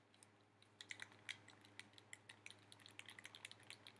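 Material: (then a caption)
Plastic. A hollow black plastic handheld game controller grip is held in both hands and tapped and clicked with fingertips and nails. About twenty quick, dry, bright clicks and taps come in an uneven rhythm over four seconds, each dying almost instantly. A faint steady low hum sits underneath.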